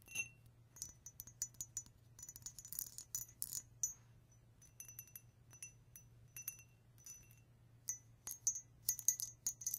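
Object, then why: Ridged glass drinking glass. A vintage ridged drinking glass, one of a set of nine from a grandmother's estate, is tapped in quick irregular bursts. It gives bright, high glass clinks and ticks with short ringing tones over a faint low hum.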